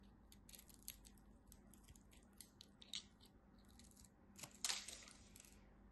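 A blade carves crunchy cubes off the end of a solid purple-and-white striped bar of dry soap held in hands with white nails. Quiet, crisp, bright crackling clicks and scrapes come in quick succession over a faint steady low hum, with a louder crunching burst near the end as a piece breaks away.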